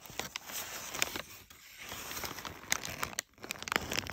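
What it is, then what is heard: Crumpled kraft paper. Fingertips with short, light nails brush and scratch across the folds of a pile of crumpled brown kraft packing paper strips. A steady, bright crinkling hiss is broken by many sharp crackles and brief quiet gaps.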